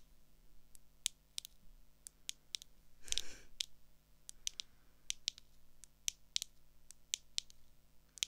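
Long acrylic nails tap and click on the clear lenses and frame of a small, hollow, blue plastic pair of swim goggles held in the hand. About twenty sharp, bright, dry clicks come at an irregular pace with almost no ring. A quick rattling flurry of taps comes just past three seconds.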